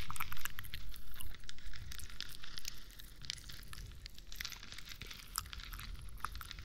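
A hand-sized, hollow, textured plastic moon lamp glowing in changing colours is held against the microphone and scratched with long nails. Rhythmic, crackly scratching strokes come with a deep low rumble, loud and distinct for the first few seconds. The strokes then fade into softer, continuous crinkly rasping with occasional bright clicks.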